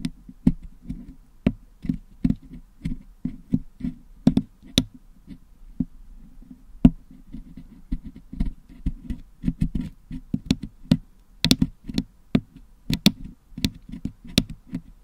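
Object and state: Putty-covered metal microphone grille.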